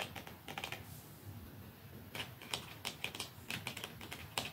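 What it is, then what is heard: Mascara tube tapped with fingernails. Fingernails tap softly and slowly on a plastic mascara tube. Light, quick clicks come in clusters with a quieter stretch in the middle, each tap bright and short, dying away almost at once over a faint low hiss.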